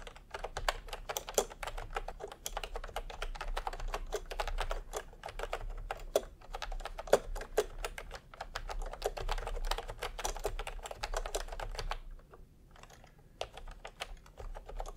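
Bare fingertips of both hands type fast on a full-size pastel plastic retro keyboard with round plastic typewriter-style keycaps, resting on white fabric. A dense stream of short, crisp clicks and clacks runs steadily with a soft low hum beneath, thinning briefly near the end before resuming.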